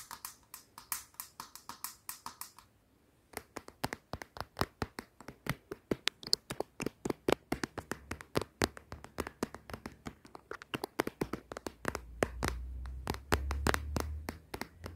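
Long yellow acrylic nails tap on the back of a hollow blue glitter plastic case on a smartphone held up to a mirror. There are quick, dry, uneven clicks, about 51 in all, with a brief pause near the three-second mark and a low rumble under the final few seconds.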